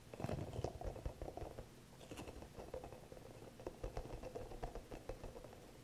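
Fingertips and nails tap and scratch a small, green, hollow rubber massage ball with soft spikes. The result is a quiet, uneven run of soft, dull, thuddy taps mixed with light scratchy rustling. Each tap dies away almost at once.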